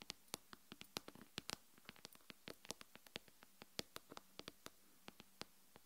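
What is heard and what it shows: Long pink-and-yellow nails tap on the glass front of an iPhone-style smartphone lying face up on a solid wooden table. About 31 sharp, bright clicks come in a quick, uneven rhythm, each dying away almost instantly. A faint, steady low hum sits underneath.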